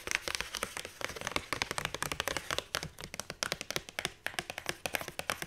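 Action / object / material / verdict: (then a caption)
tap / paperback book with card cover / cardstock / none. Fingertips and long nails tap fast on the cardstock cover of a paperback book with a circular die-cut hole and a solid page block, gripping it between taps. Around 35 quick, dry, bright clicks come in an uneven rapid patter, each dying away almost at once with little low-end thump.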